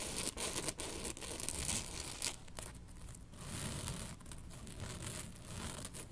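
A blue synthetic cooling towel, stretched between the hands and then rolled flat on the lap, is scratched and rubbed with long nails. The result is a dense, continuous rasping and rustling with a bright, hissy top and a soft low rumble underneath, rising and falling in quick uneven strokes.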